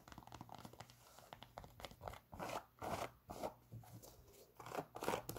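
Long pink nails scratch the knit textile upper of a hollow, empty grey Adidas NMD sneaker with a foam sole, held in the hands. Quiet, dry scratchy rasps come in uneven bursts that swell and fade, a few strokes sounding brighter and sharper, over a faint low hum.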